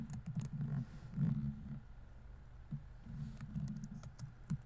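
A laptop keyboard with plastic keys on a thin solid chassis is typed on quickly with fingertips. Soft, low thuds and short clicks patter in bursts with brief pauses between them, each keystroke dying away almost at once.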